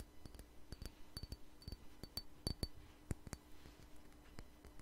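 Fingernails tap a small glass perfume bottle filled with amber liquid and held in the hand, giving a quick, irregular series of sharp, bright clicks. Each tap dies away almost instantly, with a faint high glassy tinge, over a quiet background.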